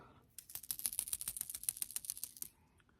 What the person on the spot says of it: it's got a built-in rattle